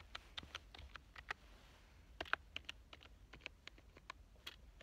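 One hand types fast with its fingertips on a black plastic full-size computer keyboard with a hollow body. About 18 quick, sharp, bright key clicks come in an uneven rhythm, each dying away at once over a faint low background hum.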